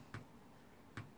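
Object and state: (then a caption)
Aluminum keyboard front plate that sounds like plastic. Two short, sharp taps on the aluminum front plate of a Logitech G413 keyboard, each a dull low thump with a brief click that dies away almost at once. Despite the aluminum, the plate sounds like plastic.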